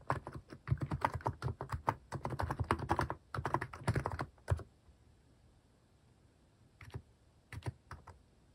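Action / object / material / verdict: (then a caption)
tap / plastic mechanical keyboard / plastic / none. Fingertips type on a compact mechanical keyboard with a white plastic case and cat-themed plastic keycaps, resting on a wrist pad. A rapid, uneven run of short, clacky key taps with a deep thock and bright edges fills the first four and a half seconds. After a pause, a few scattered taps follow.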